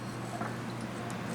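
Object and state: Nothing is struck.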